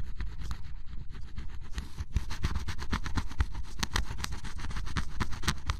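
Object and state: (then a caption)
Scratch-off cardboard puzzle being scraped. A flat metal blade scrapes the black coating off a red and orange area of cardboard scratch-off jigsaw puzzle pieces, with the flakes piling up. It makes a steady run of quick, rough scraping strokes with bright, gritty streaks over a dull low rumble. The strokes grow slightly louder and denser toward the end.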